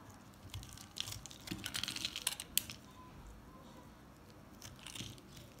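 A metal box-cutter blade shaves crumbly chunks off a green and white solid recycled soap bar, and the pieces fall onto the table. Bright, dry crackling and scraping come in uneven bursts, with sharp crisp ticks through the middle of the clip. A softer scrape follows near the end.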